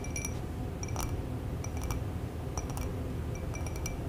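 Fingertips and long nails of both hands tap the rim and sides of a small round clear glass bowl holding a little yellowish liquid, resting on a folded towel. Light, quick glassy clicks with faint high ringing tones come and go over a steady low background hum.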